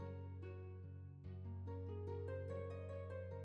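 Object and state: Nothing is struck.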